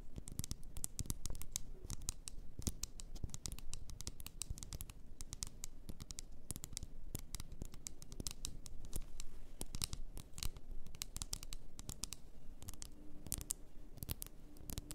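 Long nails tap and scratch the sides of an upright glass bottle full of pink bath salt with a ribbon at the neck. Rapid, dense, bright clicking taps blend with a soft scratchy texture over a low background rumble, each tap dying away almost instantly.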